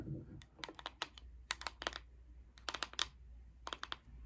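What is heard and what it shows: A round Coty Airspun loose powder plastic jar is held in the hands and tapped and scratched on its lid and sides with long acrylic nails. About fifteen sharp, bright clicks come in quick clusters with short scratchy rasps between them, each dying away almost at once over a faint low hum.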